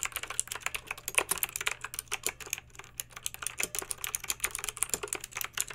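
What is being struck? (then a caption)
Plastic mechanical keyboard with round keycaps. Long pink acrylic nails type steadily on a backlit plastic mechanical keyboard with round plastic keycaps. The result is a rapid stream of bright, short clicky keystrokes that die away almost instantly, over a faint, constant low hum.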